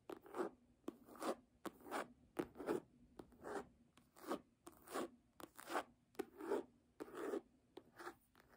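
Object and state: Faux-leather hardcover book cover.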